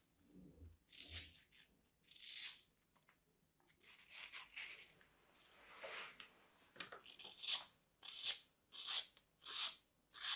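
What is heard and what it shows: A small, solid piece of dry green floral foam, held in fingers with long dark nails, is sliced with a thin metal craft blade, cutting and scraping through the crumbly foam. Quiet, bright, dry crunching and scratchy tearing strokes come in uneven bursts with almost no low end, and they stop dead with no ring. Toward the end the cuts become louder, crisper and more evenly spaced.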